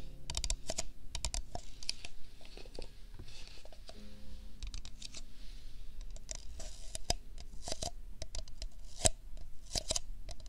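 An empty, hollow printed paper cup is held close to the microphone and tapped and clicked with fingertips and nails. Quick, dry, bright clicks and soft scratchy taps come in rapid irregular bursts over a low, rumbling background. There is a faint steady hum partway through.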